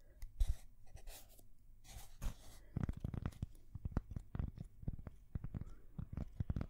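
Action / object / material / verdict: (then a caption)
tap / thin cork coaster / cork / none. Long fingernails scratch and tap a thin, solid, square cork coaster held at the side of a microphone. The first few seconds bring airy, bright scratching strokes, followed by a quick series of short, dull, low-pitched taps with almost no ring. The whole clip stays soft and close.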